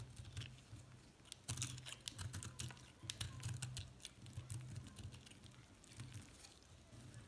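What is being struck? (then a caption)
Soap chunk shaved with a metal blade. A small, solid chunk of pastel multicolored recycled soap, held in one hand, is repeatedly shaved and cut with a metal utility knife blade, scraping off flakes. The sound is a quick run of soft, crisp scraping clicks with short bright ticks over a low, steady hum.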